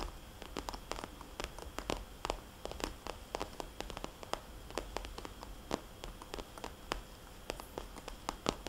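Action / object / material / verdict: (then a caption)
tap / vinyl cosmetics bag / vinyl / none. Fingernails tap and scratch on a small red polka-dot glossy vinyl cosmetics bag. They make a rapid, irregular run of soft, hollow clicks with a bright edge, between quiet scratching and a faint steady low hum. Each tap dies away almost instantly.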